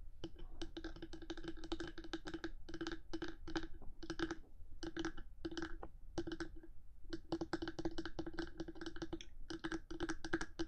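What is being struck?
Hard plastic microphone body.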